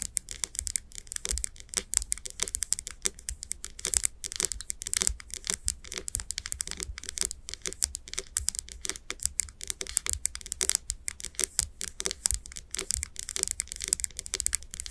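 Long nails tap the glass sides of a wax-filled glass candle jar with its wooden lid on, held in both hands. A rapid, continuous stream of quick, bright clicks with almost no ring, steady and soft throughout.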